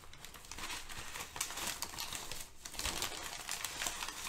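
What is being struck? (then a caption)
Thin brown kraft packing paper. Thin brown kraft packing paper is gathered and crumpled between hands with nails, producing a steady, dense crinkling crackle with bright, sharp snaps. The texture runs continuously, easing briefly at about 2.5 seconds before picking back up.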